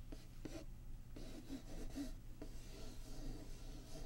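Long polished nails tap and scratch across the printed lid of a closed, medium-sized, hollow Patchwork board game box made of printed cardboard, lying flat. The result is a quiet, continuous rubbing and rasping texture broken by soft, dull taps. The sound carries a low, hollow body and very little brightness.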